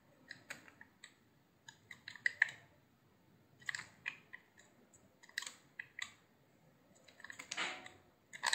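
A hand-sized, solid cream-white soap block is sliced and carved with a utility knife blade. Quiet, crisp, bright clicks and short scraping cuts come in scattered bursts, with a longer rasping scrape near the end. Each sound stops dry with no ring.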